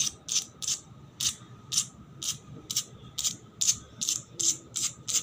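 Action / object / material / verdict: scrape / painted concrete floor scratched with long nails / concrete / none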